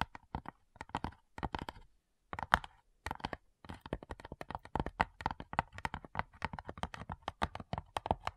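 Long nails tap and scratch the top lid of a small, hollow, light-wood cigar-style box with brass clasps. The clip is quick bursts of short, dry clicks with a woody knock around 900 Hz. A brief pause near the two-second mark breaks up otherwise steady, rapid tapping.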